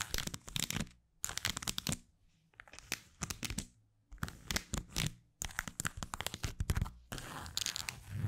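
Long white acrylic nails scratch and tap the textured surface of a small black leather card holder with plastic cards tucked into its slot, while the holder is turned in the hands. Quick, dense bursts of crisp, crinkly scratching and light tapping, bright on top with soft low thumps, come in clusters separated by brief silent pauses, ending in a steadier rustling scratch.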